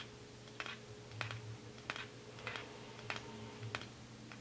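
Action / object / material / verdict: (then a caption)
tap / small plastic jar with lid / plastic / none. Fingernails tap on the lid and base of a small white plastic cosmetic jar with a black lid as it is turned in the hands. The sharp, dry clicks come in a slow, evenly spaced series over a steady low hum, each one bright and dying away almost instantly.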